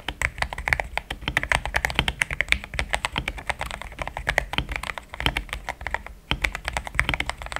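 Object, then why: Mechanical keyboard with plastic keycaps. Fingertips type in steady taps on a pink-framed compact mechanical keyboard with thick cream XDA plastic keycaps, linear switches, a polycarbonate plate and a hollow case. The result is a continuous run of quick, short clacks, each dying away almost instantly. They have a bright click near 2.4 kHz over a soft low thump.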